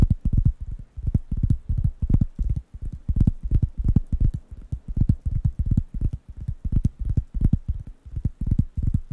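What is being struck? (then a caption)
Thin round wooden coaster pad. Fingertips tap and scratch the surface of a large, thin, round, light-brown wooden coaster pad, solid and flat, held in one hand near the microphones. Quick, uneven taps land as dull, low thumps that stop dead with no ring, with faint bright scratchy ticks over the top.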